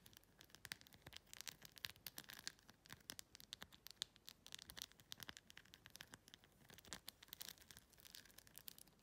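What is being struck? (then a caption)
Clear plastic phone case studded with acrylic rhinestones. Long pink-red nails quickly scratch and tap the acrylic rhinestones covering a clear plastic phone case. The result is a quiet, dense stream of crisp, bright clicks and scratchy rustling that stays mostly high-pitched, with each tap stopping almost instantly.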